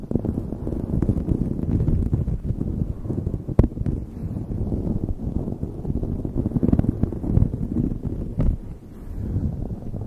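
A light blue knit beanie stretched over a microphone is scratched rapidly with long nails. The result is a dense, muffled, low rumbling rustle, with a few sharper scrapes breaking through.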